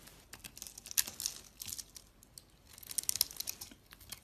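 A box-cutter blade carves and scrapes crumbly chunks off a solid soap bar, blue on the outside and white inside, held in the hand. Quiet, bright, dry crackling scrapes come in two main bursts, each made of quick crisp crunches with almost no low end and no ring after each cut.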